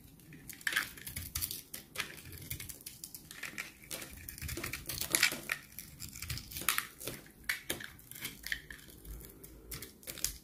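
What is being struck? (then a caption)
Bar of soap carved with a blade. A utility knife blade scrapes and carves crunchy shavings from a solid, rectangular, dried bar of soap, blue outside and white inside, held in hand throughout. The sound is a run of dry, bright, crackling scrapes and crunches with quick, uneven bursts and almost no ring after each cut.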